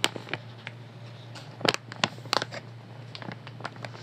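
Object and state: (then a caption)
Soft plastic wet wipes packet. A light blue soft plastic wet wipes pack, full of wipes, is held up in both hands and squeezed, crinkled and tapped with nails. Quick, bright crinkles and sharp clicks come in scattered bursts over a low steady hum.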